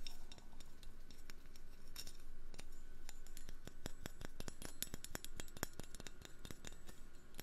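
A metal fork is tapped as an ASMR trigger, producing a rapid, uneven series of short, bright clicks and ticks with almost no ring. A steady low hum runs underneath throughout.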